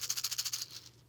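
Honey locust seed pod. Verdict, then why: Loose. A smooth, leathery, dry honey locust seed pod, picked up at a playground, is shaken so the loose seeds inside rattle. It gives a quick series of bright, high, dry rattles that then fade into a quiet tail.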